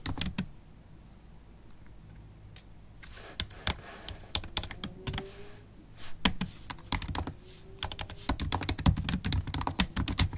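Typing with long stiletto acrylic nails and fingertips on a MacBook Pro laptop keyboard with low-profile black plastic keys in a silver aluminum body. Sharp, bright clicks and taps come in uneven bursts over a low, steady hum, with a quiet stretch near the start before the typing picks up.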